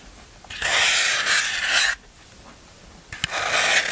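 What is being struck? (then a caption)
Floral foam block. A large, solid block of green floral foam is held by hand while a black tool is scraped and rubbed along its face. Two long, crumbly rasping passes are heard, bright and hissy with little low end, separated by a quiet pause and a brief click as the second pass begins.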